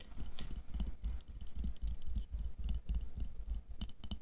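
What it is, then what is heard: Glass jar filled with water beads. Long nails tap the side of a clear glass jar with a black lid, full of red water beads (aqua pearls) and lying on fur. The taps come as a quick, uneven run of soft, dull low thuds, with brief bright clicks that die away at once.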